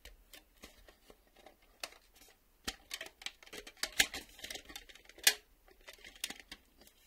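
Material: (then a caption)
Plastic. Fingers tap on a plastic VHS video cassette, making quiet, sharp, bright clicks at an uneven pace. A few taps land louder than the rest, and each dies away almost at once against a near-silent background.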